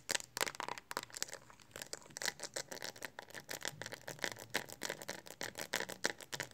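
Long nails tap and scratch rapidly on the back of a pink hard plastic Speck phone case on a handheld phone held in both hands. The quick, irregular clicks are bright and dry, centered around 1.8 kHz with little low end, and each tap dies out almost instantly amid faint scraping.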